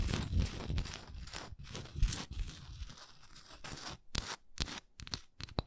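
Long acrylic nails scratch and tap a large solid wax pillar candle held on its side, working over its raised swirl pattern and its flat wax end. Dry, rasping scratches with a low thudding body come first, then give way to short, sharp, crisp taps with a quick decay.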